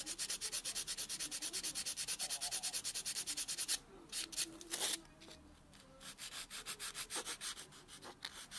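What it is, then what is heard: Fingernail being buffed with a foam buffer block. A white solid foam nail buffer block is rubbed back and forth over natural fingernails, buffing them. It makes a fast, steady run of bright, scratchy, hissing strokes, which break off into a few scattered louder swipes and a quiet stretch. Softer rhythmic strokes then resume.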